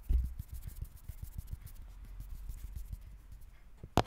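Fingertips and nails scratch and rub across the ridges of a textured green plastic brain lid sitting on a large, hollow red plastic skull container. The result is a steady run of soft, dull, low scratching strokes with faint bright hiss, bracketed by two louder knocks at the start and the very end.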